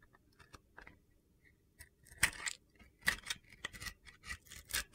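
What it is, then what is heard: Glitter-coated bar soap being cut. A utility knife blade slices along the scored lines of a red-blue glitter-coated bar of soap. Crunchy, gritty cuts come in short bright bursts with a faint tone near 2 kHz. They are quiet at first, then grow louder and more frequent in the second half.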